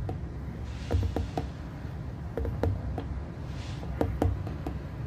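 Fingertips and nails tap across the surface of a small, hollow, lit glass plasma ball globe resting on its base. The taps are light, short and irregular, coming in small clusters with a brief glassy tick and a quick decay. A steady low hum sits underneath throughout.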